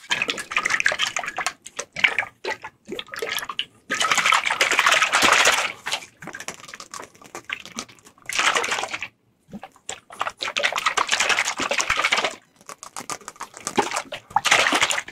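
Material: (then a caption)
Glass. A medium-sized dark glass olive oil bottle, hollow and partly filled with oil, is held in both hands and shaken and tilted close up. The oil sloshes in bright, bursty gurgles, and fingertips handle the label. The liquid bursts come in irregular clusters separated by short silences.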